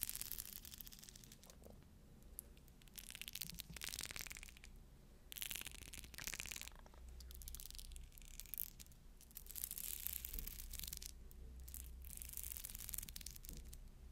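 Fingernails scratch and roll over the beads of a pearl necklace, making a quiet, bright, crackling scrape in bursts that swell and fade with a faint low rumble underneath. The pearls later fell apart.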